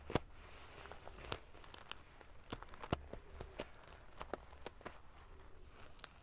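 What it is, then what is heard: Metal-sequin pillow being ruffled. Long fingernails ruffle the rows of silver metal pieces covering a large padded metal-sequin fabric pillow. Sharp, bright clicks and crackly rustles come in irregular bursts over a soft, steady hiss, and each snap dies away almost instantly.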